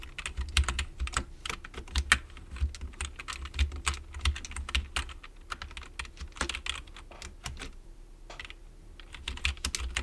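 Fingertips type continuously on a full-size black plastic computer keyboard with a hollow plastic case, producing rapid, uneven bursts of short, bright clicks and clacks with quick decay. A steady low hum runs underneath throughout, and the typing thins out briefly near the middle before picking up again.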